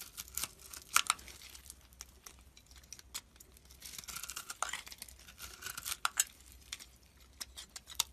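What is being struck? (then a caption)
Bar of soap cut with a metal blade. A solid soap bar with pink and green speckles is held in the hand while a metal blade scrapes and cuts it into crumbles. Quiet, bright, crisp scraping and crackling fills the clip, broken by sharp little snaps and bursts of crumbling.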